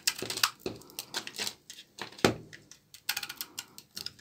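A short blade scrapes thin, brittle shavings off the face of a solid rectangular bar of dark brown, dry laundry soap held in the palm. The result is a rapid, irregular run of short, dry, crackly scrapes with bright, crisp edges and almost no low end, each one cutting off quickly.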